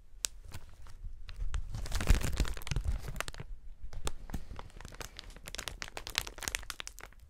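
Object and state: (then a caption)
Plastic air cushion packaging. A wide sheet of clear, hollow, inflated plastic air-cushion packaging is stretched out and then crumpled together by gloved hands. Sharp, bright crinkles and crackles snap irregularly throughout, swelling into a dense, louder crunching rustle in the middle before thinning back to scattered crisp pops over a low rumble.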